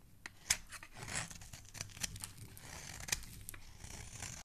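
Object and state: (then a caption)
Soap bar being carved. A metal utility knife blade scrapes and carves the face of a solid, hand-sized pink soap bar held in the fingers, shaving it into crumbly pieces. The sound is a quiet, bright, dry rasp with sharp snips and scratches scattered through it.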